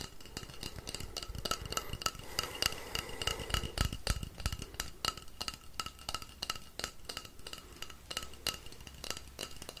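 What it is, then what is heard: Wooden rainstick. A long, hollow, painted wooden rainstick is held in one hand, tilted and shaken while fingers tap along its side. It makes a steady, irregular patter of quick, dry clicks and taps with bright, glassy ringing tones near 2.8 kHz over a soft low rumble.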